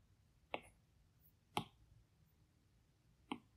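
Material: Glass.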